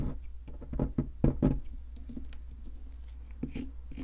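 A metal chisel with a wooden handle scrapes and chips at the top surface of a solid white plaster fossil excavation block. Dull, short taps and gritty scrapes come in an uneven run, loudest around the middle, over a steady low hum. Each chip dies away almost at once, with little high-end sparkle.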